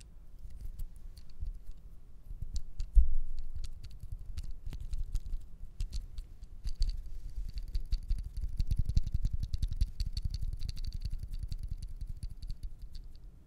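Fingertips and nails tap and click a small, dark, hollow plastic disposable lighter with a metal hood, held in both hands, working at its cap and spark wheel. The sound is a steady patter of soft, dull, dry taps with bright, crisp clicks and no ringing, one sharper click near 3 s. The tapping grows denser and busier from about 8.5 s.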